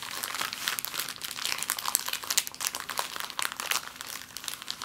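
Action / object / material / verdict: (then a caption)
scrape / thin plastic bag / plastic / none. An empty, thin, clear plastic bag lying flat on a table is crumpled and scrunched with fingers and long nails. It makes a steady stream of bright, crisp crinkles and sharp little crackles with almost no low end, each snap dying away instantly.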